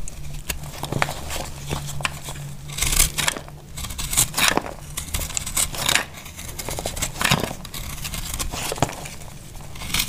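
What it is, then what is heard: Dry soap bar being scraped and sliced. A small knife scrapes and slices flakes off a solid, dry, powdery pale pink soap bar held in the hand. Crisp, bright, crackly scraping bursts come at an irregular pace over a faint steady low hum. Each cut stops dry with no ring.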